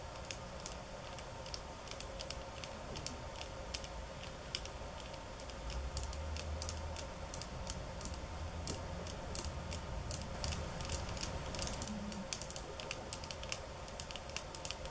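Long acrylic nails tap with the fingertips on a flat roll-up mat of thin, solid bamboo sticks laid on a granite counter. Sharp, bright clicks land in an irregular, fairly quick stream over a steady low hum, and the tapping grows louder and denser through the middle before easing back.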